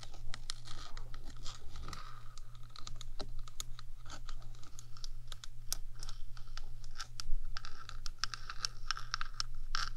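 Long acrylic nails on one hand scratch and tap the top of a 3Dio binaural microphone's rectangular metal housing, a small enclosure with electronics inside. The result is a dense run of sharp, bright clicks and scraping strokes over a steady low hum.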